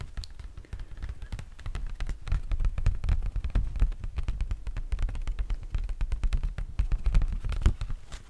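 Fingertips and nails tap and scratch a solid hardcover Harry Potter book wrapped in a crinkly, clear plastic library dust-jacket cover, held near the mic. The result is a steady run of rapid, dull, low thumps with short bursts of scratchy crinkle, each tap dying away almost instantly.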